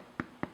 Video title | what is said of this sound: Irish Soda Scones (Classic Version) - Joyofbaking.com | just turn one over and tap it and you can hear that Hollow sound that's another way to know that they're done